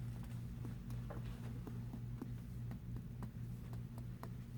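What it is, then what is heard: Resonant abdomen on percussion. Repeated light tapping on a human abdomen during percussion in an abdominal exam produces quick, dull thuds over a steady low hum. The result is a resonant note, the expected normal sound over gas-filled bowel.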